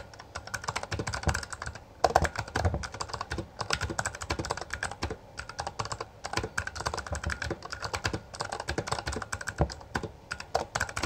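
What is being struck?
Plastic mechanical keyboard.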